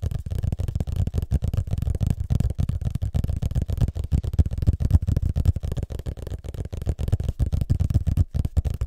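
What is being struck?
Hardcover book, paper and board.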